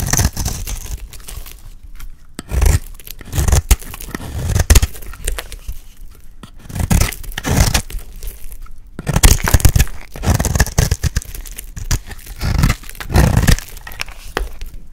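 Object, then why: Bar of soap shaved with a metal blade. A solid yellow bar of dry soap, held in the hand, is shaved into flakes with a metal blade. Repeated dry scraping and crunchy, crackling cuts come in bursts, with soft low thumps and bright flaky rustle between strokes.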